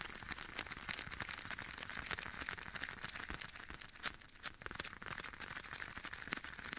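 Bare fingertips tap repeatedly on a soft, hollow black leather glove worn on one hand and held beside the right ear of a binaural mic, with an echo effect applied. The taps are quick, dense and uneven, each a short, bright, papery patter centered around 2 kHz, with little low end and a soft crinkly wash between them. The result is a continuous, quiet, close-up flutter of leather taps.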